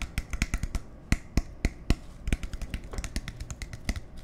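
A clear plastic soda bottle with a black cap and label is held in both hands and tapped with fingertips and nails on the cap and body. A quick, irregular run of short, dry taps and clicks follows, some much louder than others, each pairing a soft low thump with a bright click that stops almost at once.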